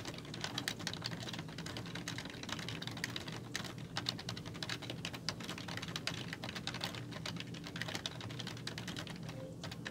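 Fingertips with long nails type steadily on a black plastic computer keyboard with hollow keys, making a rapid, continuous stream of bright, sharp clicks and clacks. Each tap is short with almost no ring, heard over a soft, steady low hum.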